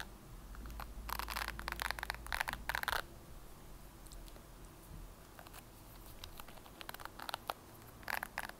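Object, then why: Plastic hairbrush bristles. A red plastic hairbrush with white bristles has its bristles repeatedly scratched and flicked by long nails. Bursts of bright, crackly scraping rise over a low, steady background hum, with dense flurries early on and again near the end.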